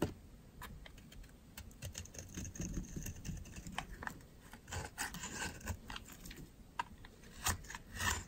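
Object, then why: Bar of soap shaved with a metal blade. A metal utility knife blade shaves the edge of a solid, dry white oval soap bar, peeling off dry, crumbly flakes. Many short, crisp scraping clicks and crackles come one after another, with a soft low rumble underneath and brief bright ticks. Several louder cuts stand out near the end.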